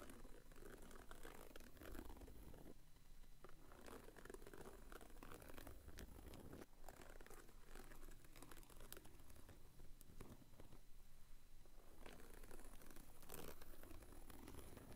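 The tip of a wooden stick scratches, taps and traces along the fanned edges of thin glassine envelopes standing on edge, packed into a small cardboard box held by a thumb. It makes a steady run of soft, dry papery crinkles and scratches with light taps over a low, quiet rumble.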